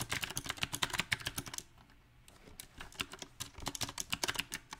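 Both hands type with the fingertips on a compact backlit mechanical keyboard with round plastic typewriter-style keycaps. Bright, crisp key taps come in an uneven rhythm, pause briefly in a quieter stretch, then resume. Each tap is short and dry, with almost no ring.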